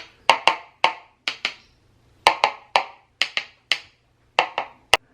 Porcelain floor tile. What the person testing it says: obviously you can hear hollow spots